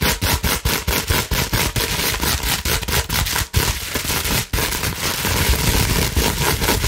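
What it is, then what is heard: Plastic bubble wrap being scratched. Long acrylic nails scratch fast across a large, held-up sheet of clear plastic bubble wrap with air-filled bubbles, and the sheet is also scrunched. The result is a rapid series of dry, crackly scraping bursts over a broad hiss, which then runs into a steadier, continuous crinkling rustle.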